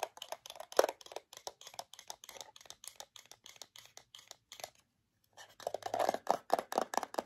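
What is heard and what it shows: A small, flat rectangular metal tin of PYM Original Mood Chews with a printed yellow and white label, closed and likely partly full, is held in one hand and tapped and scratched on its lid and sides with long acrylic nails. Quick, dry, clicky taps with almost no ring run in a steady stream, pause briefly near the five-second mark, then return as denser, louder scratching and tapping.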